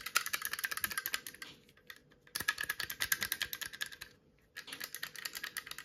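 A hand-sized steel rivet gun with black handle grips is tapped and scratched with long nails in three quick bursts separated by short pauses. Each burst is a rapid run of bright, clicky metallic taps with almost no ring and very little low end.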